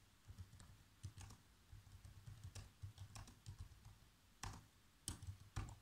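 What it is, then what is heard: Plastic laptop keyboard being typed on. Fingertips type fast on black plastic laptop keys, producing a quick, uneven run of soft key taps. Each tap is a short, dull, low thump with a faint bright click that dies away almost at once, with the louder strikes clustered toward the end.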